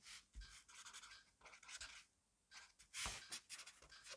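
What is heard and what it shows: A black pen scribbles fast and messily across a grid-paper notebook page resting on a desk. Bright, dry scratching comes in quick bursts with short pauses and a near-silent gap midway. The sound is quiet and close, with little low end.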